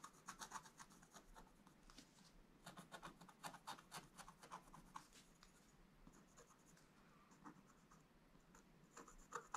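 A wooden stylus scratches across a flat, black-coated scratch-art page, tracing outlines in quick, dry strokes. The scratching is quiet, with bright, raspy bursts that stop dead without ringing. A calmer, lighter stretch of steady tracing follows before a few sharper strokes at the end.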